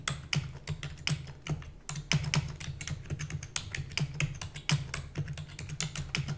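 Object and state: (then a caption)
Plastic computer keyboard. Rapid typing with fingertips and long natural nails on a full-size black plastic computer keyboard with plastic keys and a hollow housing. A fast, uneven stream of sharp, bright clicks and clacks with very short decay. A steady low hum runs underneath throughout.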